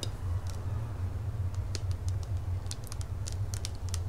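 A medium clear plastic drink bottle with a green cap and a printed label, apparently full of liquid, is held in one hand and tapped with fingertips and nails. Light, bright clicking taps come in an irregular stream over a steady low hum near 94 Hz.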